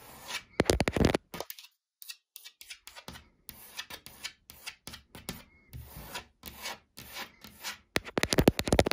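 Long dark-painted nails and fingertips rub and scratch along the grain of a large, flat, solid wood-grain laminated wardrobe door. The result is a fast, irregular run of short, dry scraping strokes with no ring, loudest and densest at the start and end, with softer, sparser scratches in between.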